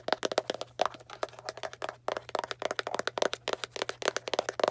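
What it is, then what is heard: Cardboard box tapped. A small Arm & Hammer cardboard baking soda box is tapped and scratched with long black nails, giving a rapid run of about thirty dry, sharp taps. Each tap has a hollow papery knock around 600 Hz with a bright crackle on top and dies almost at once. A faint steady low hum runs underneath throughout.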